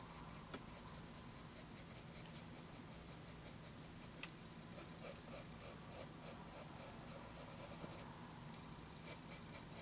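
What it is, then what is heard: Pencil strokes on a paper notebook page. A sharpened wooden graphite pencil makes light scratching strokes while drawing on a lined paper notebook page. Short, bright, scratchy bursts come in a quick, uneven rhythm, with a faint steady low hum underneath. The overall sound is quiet.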